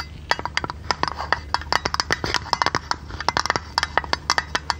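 A small oval metal tin or lid with a silver rim and a blue painted top is tapped rapidly with long red nails. Quick, dry, bright clicks with a mid-pitched ring come in irregular clusters over a faint low hum, each tap dying away almost instantly.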